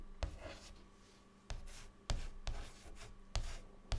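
A stick of white chalk held in the fingertips scratches across a large, flat, dark chalkboard lying flat on a solid board. Six sharp taps of chalk striking the board mark the start of short strokes, each with a dull low thump and a brief bright scratchy rasp. Softer scratching trails between the taps.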